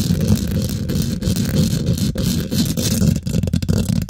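Both hands scratch and tap quickly with long nails and fingertips on the domed, hollow woven metal mesh grille of a large silver condenser microphone. The result is a dense, boomy, low-heavy rasp of scratching with rapid tapping throughout, and sharper clicks stand out toward the end.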